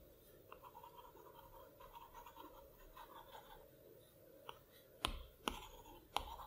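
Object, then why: Stylus tip on a glass tablet screen. A plastic Apple Pencil tip moves across the glass touchscreen of a large iPad Pro resting on a plaid cloth, giving a quiet, soft scratchy rustle for the first few seconds. It then taps the adjustment sliders and menu icons on the flat glass, producing short, sharp clicking taps with a bright edge that cut off almost immediately.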